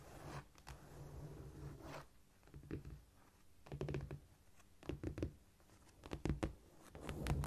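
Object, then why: Cork floor. Long nails tap and scurry with both hands across a flat, solid cork floor. The result is soft, dull tapping and scratching in quick clustered bursts, with a low thudding body and brief scraping between them.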